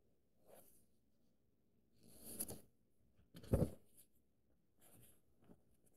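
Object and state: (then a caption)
Paperback book pages traced with a fingertip. A fingertip and nail trace lines along the thin printed paper pages of an open paperback book held flat. Five soft, dry scratching strokes are heard, separated by short pauses, with brief high rasps over a low rustle; the middle stroke is the loudest.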